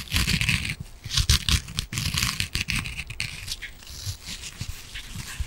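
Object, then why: Foam kitchen sponge with scouring pad. Long nails scratch the green scouring side of a palm-sized yellow foam kitchen sponge. Dense, rasping bursts of bright, hissy scraping rise and fall in quick strokes, each carrying a soft low rumble underneath. The scratching stays steady and close without a break through the whole clip.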